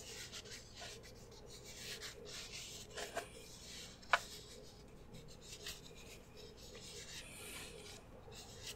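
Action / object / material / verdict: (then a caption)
scrape / soft plastic squeeze tube / plastic / none. A small turquoise soft plastic squeeze tube of AHAVA hand cream, hollow and partly full, is held in both hands and rubbed and squeezed with fingertips and short nails. It makes a steady, quiet, bright rasping rub, broken by a few sharp plastic clicks, one much louder than the rest.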